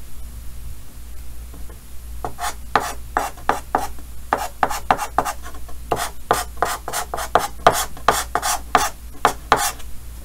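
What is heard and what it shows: A yellow chalk stick held in the fingers rubs and scratches 21 quick, raspy strokes across a large flat dark chalkboard with a green wooden frame. The strokes are bright and gritty, mostly in dense bursts, over a steady low hum.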